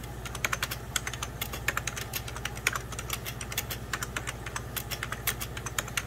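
Fingertips and short nails rapidly press the beige plastic keys of a full-size 90s Packard Bell keyboard, whose keys sit over a hollow plastic case. The result is a fast, uneven stream of short, bright clicks and clacks that die away almost instantly, over a steady low hum.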